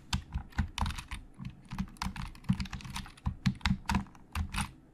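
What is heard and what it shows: Fingertips of both hands type on a hollow black plastic Logitech keyboard, producing a steady run of quick, short-lived keystrokes. Each press gives a low, hollow clack topped with a bright plastic tick, and the clicks vary in loudness as the typing speeds up and slows.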